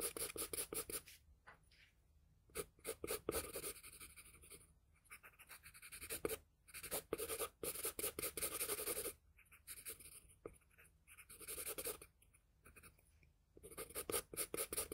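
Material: Paper.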